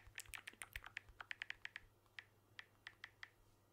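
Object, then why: Smartphone with glass back and metal frame. Fingertips tap the glass back of a blue smartphone with an aluminium frame, held close to the microphone. Eighteen short, dry clicks sound at an uneven pace, bunched quickly at first and then spaced farther apart. Each has a bright tick centred near 2 kHz that dies away almost at once over a faint low hum.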